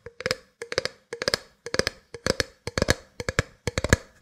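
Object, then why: Plastic drink bottle. Long nails tap the sides of an empty, hollow clear plastic drink bottle with a black cap, held sideways. The sound is quick clusters of sharp, hollow plastic ticks in an uneven rhythm, with a short resonant tone and bright clicky edges that die away almost instantly.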